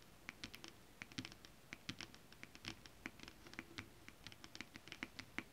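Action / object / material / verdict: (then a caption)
scrape / scale-printed stretch fabric / stretch fabric / none. Long acrylic nails on both hands quickly scratch and tap a flat sheet of shiny holographic scale-printed stretch fabric. The result is a rapid, uneven patter of short, dry, bright clicks and scratches with no ring, at a quiet level.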